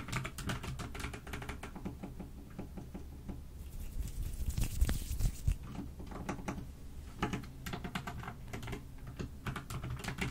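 Two hands with long nails type continuously with their fingertips on a full-size pastel pink, blue and cream mechanical keyboard with plastic keycaps, resting on a white desk. The result is a rapid, irregular patter of short, dry clacks with a low, thocky body, with a few louder strikes about halfway through.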